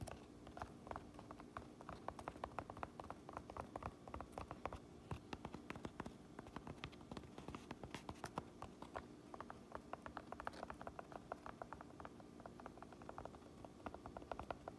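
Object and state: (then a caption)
Fabric baseball cap tapped with fingernails. Long nails tap and scratch the front panel of an empty black cotton/polyester Kuhl baseball cap resting on a counter, just beside its woven mountain shield patch. The result is a quiet, steady stream of quick, dry, muffled taps with soft fabric scratching and almost no ring, continuing for the whole clip.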